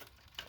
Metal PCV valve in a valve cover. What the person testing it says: you can shake it and if you hear it rattling you know it's good